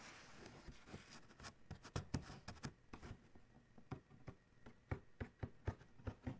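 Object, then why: Cardboard shoe box lid. Fast fingertip tapping and fingernail scratching with one hand on the lid of a large, hollow black Adidas cardboard shoe box. A soft, bright scratching texture runs underneath a quick string of short, dull, hollow taps that are heavy in the low end and stop almost instantly.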